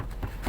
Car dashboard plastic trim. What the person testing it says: il ya un plastique assumer mais c'est lourd je tape c'est lourd